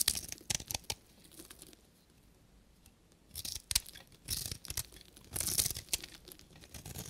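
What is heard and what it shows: A short metal knife blade shaves a solid pink bar of dry soap, sending off crumbly, powdery curls. Bright, crackly scraping bursts come in quick clusters, with a near-silent pause in the middle before the dry, papery crunching returns.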